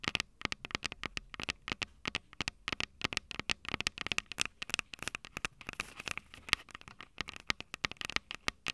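Long purple nails tap and scratch the metal mic capsule heads of a small Tascam DR-05 handheld recorder with a plastic body and two metal capsules. Rapid, dry, bright clicks and scratchy taps sound close to the mic, with almost no ring or low end and a steady pace for about nine seconds.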